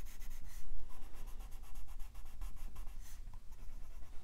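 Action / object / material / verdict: scrape / colored pencil rubbing on a thin paper page / paper / none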